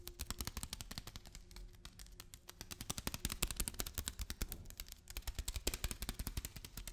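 A package of lentils is tapped and handled with a rapid, uneven run of dozens of short, dry taps. Each tap has a dull low thump and a bright crisp click that dies away almost instantly, with the pace quickening and growing louder in the middle before easing off.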